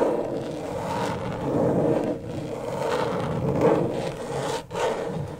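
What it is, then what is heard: Plastic LED light pad scratched with nails. Long stiletto nails make slow scratching strokes across the plastic surface of a flat, thin, backlit rectangular LED tracing pad. The result is a steady, dry, gritty rasp centered in the low mids that swells and eases with each stroke, with brief pauses as the nails lift.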